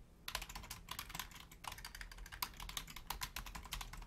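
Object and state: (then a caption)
Plastic computer keyboard being typed on. Both hands type on a black plastic Logitech full-size keyboard with long nails and fingertips, reaching toward the right-side keys at the end while the mouse sits untouched. A rapid, uneven stream of short, crisp clicks with a bright edge carries over a faint low hum, each keystroke dying away almost instantly.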